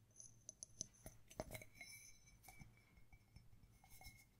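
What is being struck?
Small ceramic mug.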